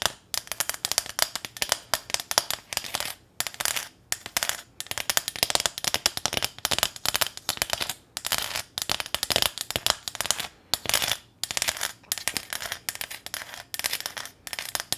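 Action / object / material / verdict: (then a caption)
tap / small corrugated metal sign / sheet metal / none. Long nails rapidly tap and scratch across the ridged face of a small, flat corrugated metal welcome sign decorated with a ribbon bow. The result is dense bursts of bright, crackling clicks and rasps separated by brief pauses. There is almost no low end, and each tap dies away almost instantly.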